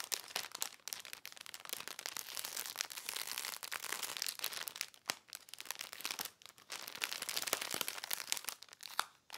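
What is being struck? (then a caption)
Thin polyethylene bag holding folded cloth. A clear thin polyethylene bag, about 30 cm square, holds a folded dark shirt and lies flat on a lace tablecloth while fingertips and nails scratch, rub and pinch its surface. Dense, bright crinkling and crackling fill the clip in bursts with brief quiet gaps, with almost no low end.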